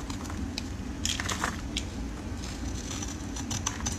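A metal utility blade scrapes and shaves a solid oval red soap bar held in gloved fingers. Dry, crackly scraping bursts flick through bright high frequencies over a steady low rumble.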